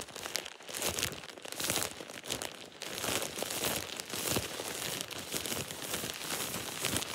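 A thin, empty plastic shower cap is held and crumpled in one hand, giving a continuous run of bright, crisp crinkling with little low end. The crackles come in dense, overlapping bursts that swell and ease throughout.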